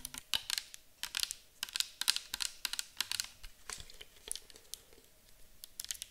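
A round, clear bottle with a white cap, likely plastic and partly filled with orange liquid, is held in the hands, tapped with long nails and tilted. The result is a quick, irregular stream of sharp, bright clicking taps with almost no ring, separated by short quiet gaps.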